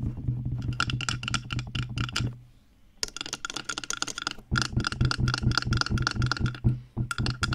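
Long painted acrylic nails tap and scratch quickly on the white, soft, hollow, ear-sized silicone ear pieces on both sides of a black-bodied 3Dio binaural microphone, sometimes brushing the mic body. The result is a dense run of rapid, muffled, thumpy taps with crisp clicky edges and scratchy rustle, pausing briefly near the middle before resuming just as fast.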